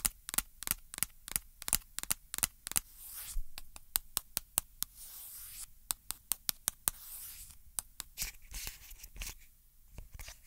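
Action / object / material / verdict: tap / plastic lotion pump bottle / plastic / none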